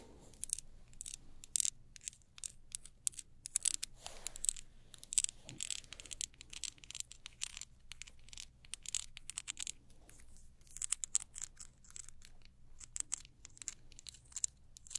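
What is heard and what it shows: Long acrylic nails tap and scratch around the sides of a small, hollow white plastic travel-size jar or tub with a paper label, held in both hands. It is unclear whether the jar is full or empty. Quick, bright clicks and dry scratchy bursts come in uneven clusters over a faint, steady low hum.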